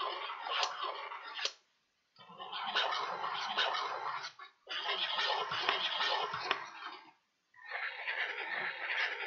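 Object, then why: Folded kraft paper bag. A small pointed tool ticks and scratches across a folded, empty kraft paper bag with blue print and handles. Four bursts of dry, papery scratching with sharp ticks, each spread from low-mids to bright highs, are separated by short silences.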